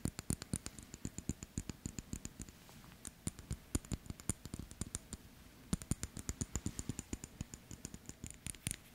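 Fingertips and nails tap and fiddle with a small gold-tone metal wristwatch held up close in the hands, touching its gold-colored case, dark dial and black strap. Rapid, light, dry clicks and taps follow one another in quick bursts, each with a soft low body and a bright ticking edge that dies away almost instantly. The tapping thins out briefly twice before picking up again.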